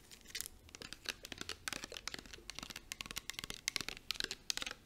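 A clear plastic body mist bottle filled with liquid is tapped quickly with long acrylic nails, giving a rapid series of short, bright, clicky taps. Each tap dies away almost instantly, with faint crinkly rustling between them and almost no low end.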